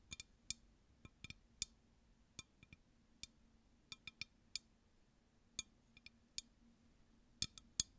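Long nails tap a clear, empty, hollow glass drinking tumbler close to the mic in an irregular series of quick, light clicks, some falling in close pairs. Each tap is a bright, high, dry tick with almost no ring, over a faint steady low hum.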